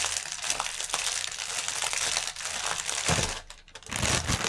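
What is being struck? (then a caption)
Inflated polyethylene air cushion film. A strip of inflated, hollow, air-filled clear polyethylene air-cushion packaging lies on a table while both hands scratch the film with fingertips and nails. A dense, bright crinkling and scratching runs throughout, with a faint low hum beneath. It briefly drops quieter just after the three-second mark before the crinkling swells back up.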